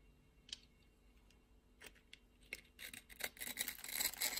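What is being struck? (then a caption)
Soap bar cut with a knife blade. A utility knife blade scrapes cubes off a solid orange soap bar scored in a grid. A few quiet, bright, crisp scrapes and clicks are spaced apart at first, then build into denser, louder crackling scraping toward the end. The sound is high and crumbly with very little low end.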